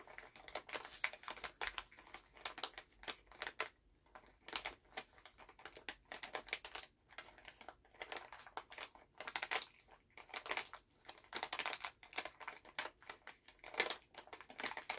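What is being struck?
Plastic candy pouch.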